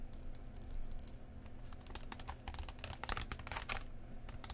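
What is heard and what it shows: Long painted nails and fingertips of both hands tap across the clear plastic front of a book-sized Pokemon TCG three-pack blister, a hollow plastic shell over printed cardboard with sealed card packs inside, lying flat on a cloth. Quick, light, dry clicks patter in uneven bursts, with bright, short ticks over a low steady hum.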